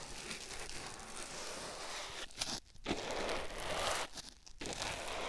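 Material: Foam.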